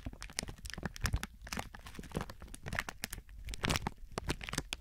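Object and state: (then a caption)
Plastic film crinkling. Thin clear plastic film stretched over a binaural microphone is squeezed and rubbed by both hands with fingertips and palms. It gives dense, crackling crinkles with sharp, bright snaps over a low rumble of handling.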